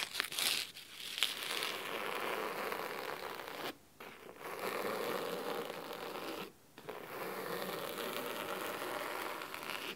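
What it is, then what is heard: Cloth-covered hardcover book being scratched. Fingernails scratch the spine and then the cover of a thick navy cloth-bound hardcover book resting on a wooden table. The result is a steady, bright, crisp fabric-scratching texture with little low end, broken by two brief pauses before the scratching resumes.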